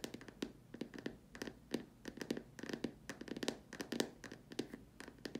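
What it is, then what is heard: Plastic lamp shade. Long dark nails tap and scratch the sides and the rim of the top opening of a large hollow white plastic dome lamp shade. A quick, uneven run of short, dry clicks and taps, each with a hollow mid-low knock around 285 Hz, mixes with bright scratchy rasps. Each tap dies away almost at once.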